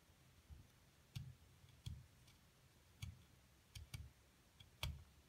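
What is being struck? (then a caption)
Plaster block. A thin metal seafood pick scrapes and digs into the carved-out top of a solid white plaster excavation block, which is held by a hand with long gold nails. Eight short, dry clicks sound over a faint steady hiss, each with a soft low thump and a bright ticking edge that dies away almost at once.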